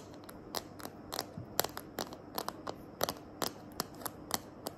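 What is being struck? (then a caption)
Plastic phone case. Long nails tap and scratch the back of a small hand-held smartphone in a green glitter plastic case. About sixteen sharp, bright clicks land at an irregular pace over a faint scratchy hiss, each dying away almost instantly.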